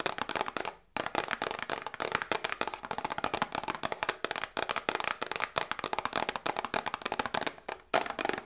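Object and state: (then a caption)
Cardboard medicine box. A small, hollow cardboard medicine box held in both hands is tapped with long nails in a fast, steady run of about 39 dry, clicky taps, with brief pauses near the start and end. The taps are crisp and bright with almost no low end or ring, each one dying out almost at once.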